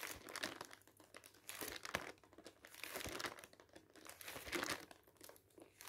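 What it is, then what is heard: Thin glossy paper leaflet. Fingers quickly flip the pages of a folded, thin, glossy paper advertising leaflet resting on a table. The result is crisp, bright crinkling in quiet, uneven bursts with sharp rustles and no low rumble.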